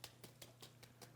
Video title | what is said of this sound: [ENG CC] 겉바속촉 추억의 고로케(크로켓)_노오븐 레시피 Crispy Outside, Moist Inside, Korokke(Croquette)_No-Oven Recipe | Can you hear that tapping sound? These are fried really crispy